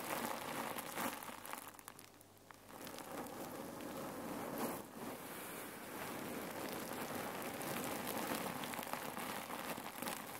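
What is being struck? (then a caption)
Cotton pillow filled with cherry pits. Fingertips squeeze and knead a folded red cotton neck pillow filled with cherry pits, shifting the pits inside. A dense, steady stream of gritty rattling and crackling fills the clip, dipping briefly near two seconds before resuming at an even level.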